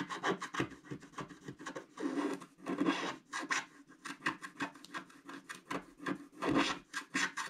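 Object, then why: Black-coated scratch art card and wooden stylus. A wooden stick stylus rapidly scratches across a flat, black-coated scratch art card sheet. It makes a series of short, dry, rasping strokes, with a few longer drawn-out scrapes mixed in. The scrapes have a papery hiss that reaches into the high range.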